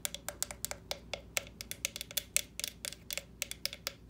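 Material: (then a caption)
Plastic. Long nails tap and knock on the shell of a small hollow orange plastic jack-o'-lantern lamp with carved-face openings, standing on a stand. About 23 quick, dry, bright clicks ring out in an uneven rhythm, each dying away almost instantly.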